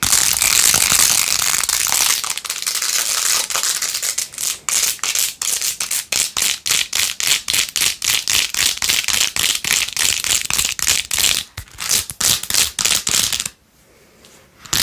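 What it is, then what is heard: Plastic phone case with faux-pearl beads. Long nails scratch fast over a plastic phone case covered in pink faux-pearl gems, held close. The result is a bright, hissy, clicking scrape: a continuous rush for the first couple of seconds, then quick rhythmic strokes that stop abruptly near the end, leaving a faint hush.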